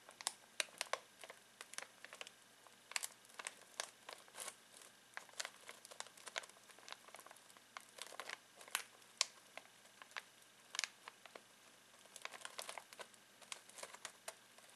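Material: Foil plastic.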